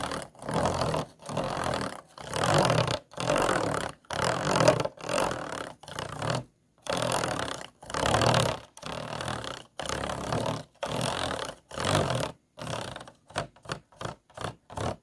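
The tip of a pair of scissors scratches along the grooved ridges of a long, clear, ribbed plastic bottle, hollow and empty and held horizontally. It makes a series of raspy, ratcheting strokes, each a buzzy midrange scrape with a faint hollow body, separated by brief silences. Toward the end the strokes become short and quick.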